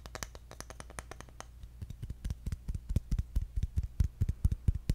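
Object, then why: Bamboo jar lid. A round, engraved, palm-sized bamboo jar lid is held up and tapped with fingertips on its flat top. It gives a quick, uneven series of short, dry taps over a steady low hum: lighter clicks at first, then deeper, louder hollow thuds that die away almost instantly.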